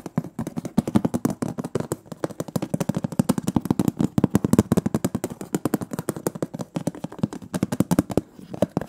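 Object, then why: Metal cookie tin lid. Rapid fingernail tapping moves across the printed metal lid of a large, round, closed butter cookie tin. The result is a dense stream of short, dry clicks with a hollow, low-mid tinny body and almost no ring. The taps come in quick, uneven bursts for the whole clip.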